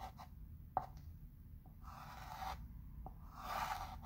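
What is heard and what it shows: A chalk pencil traces letters on a flat wood-framed chalkboard while the other hand holds the frame. Quiet scratching, rubbing strokes sweep across the board surface, broken by a few short ticks and a final brighter stroke.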